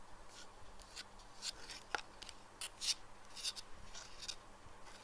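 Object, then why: Plastic pinhole glasses. Fingernails tap the black perforated lenses and clear frame of small plastic pinhole eyeglasses lying on a desk. The result is a run of quiet, light, bright clicks that die away almost instantly, with a faint steady hum underneath.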